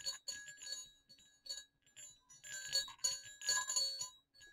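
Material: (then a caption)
Metal. Two small hollow silver metal jingle bells on a cord are gently shaken and clicked together. They give quiet, bright, high jingling rings in irregular bursts, with short tinkling decays between clicks.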